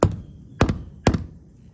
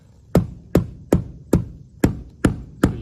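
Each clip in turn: First: Three short, dull hammer taps with a low thud and no ring: a solid roof spot over a rafter. Second: Seven steady hammer taps on a shingled roof give low, boomy thuds: a hollow spot between rafters.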